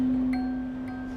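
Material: Nothing is struck.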